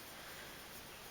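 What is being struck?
Nothing is struck.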